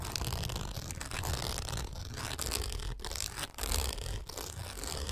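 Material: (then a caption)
Nylon mesh. Long nails scratch and rake across the taut nylon mesh window of a pet travel backpack. The result is a dense, continuous raspy scraping with bright high fizz over a low rumbling texture. It dips briefly just after the midpoint before resuming.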